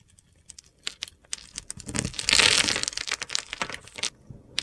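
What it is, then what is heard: Soap bar being carved. A metal utility knife blade carves small scored cubes off the surface of a solid, hand-sized blue soap bar with a glitter coating, held in the hand. Sharp, bright crackles and crisp snaps come at an uneven pace, swelling into a dense, gritty crunch midway before thinning back out to scattered clicks.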